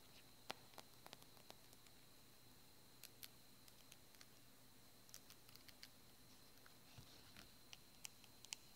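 A partly filled white and yellow plastic cosmetic squeeze tube with a paper-printed label is held in the hands and tapped and scratched with the fingernails. Sharp, quiet clicks and brief scratchy ticks are scattered irregularly over a low background hiss with a faint, steady high-pitched tone.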